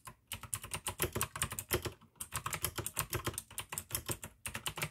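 Continuous fingertip typing with both hands on a full-size pink AUKEY mechanical keyboard with plastic keycaps and clicky blue switches. Rapid, bright clicks ride over a low thud from each keystroke, broken by a couple of brief pauses.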